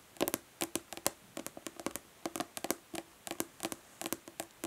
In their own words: Nail tapping on plastic body lotion bottle.